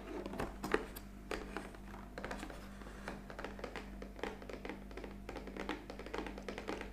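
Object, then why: Cardboard coffee capsule box. A hollow black printed cardboard coffee capsule box stands upright and is held at the sides while long fingernails tap on its top edge and face. Quick, dry, hollow clicks and light scratches come in irregular bursts, with a steady low hum underneath.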